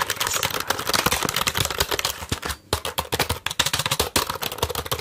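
Fingertips tap and press the keys of a full-size black plastic computer keyboard with a hollow plastic body, held up close in front of the microphone. It makes a rapid run of sharp, bright clicks that die away almost instantly, with a brief pause about halfway through before the tapping resumes.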